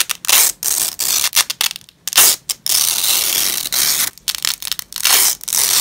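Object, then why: Nylon hook-and-loop strap. Hands in black nitrile gloves peel apart the two sides of a long, thin, flexible purple nylon hook-and-loop (velcro) strap lying on a grey fabric cloth. The result is a series of bright, crackling ripping and tearing bursts, some short and choppy and others drawn out into longer sustained rips, with brief silences between pulls.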